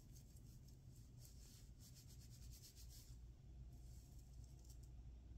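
Fingertips and nails scratch and rub across the small plastic sequins on the torso of a grey-blue sequined fabric dress worn by a person lying down. Bright, crackly bursts of sequin scraping rise and fall over a steady low rumble, with the rubbing continuing throughout the clip.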